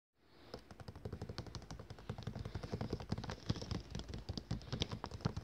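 Fingertips and nails of one hand wearing rings tap fast on the cover of a thick glossy paper catalogue lying closed and flat on a table, a solid stack of pages. Roughly thirty quick, dry taps mix low, dull thumps with sharp clicky tips. They run as a steady patter that grows slightly louder toward the end.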